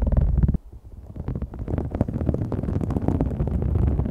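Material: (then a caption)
Vinyl. Fingertips and long nails scratch and tap a large, thin, flexible green-gold holographic faux snakeskin vinyl sheet with a raised scale texture, lying flat. A dense, low, rumbling scrape with quick soft taps stops briefly after about half a second, then returns as steady close scratching and tapping that fills the rest of the clip.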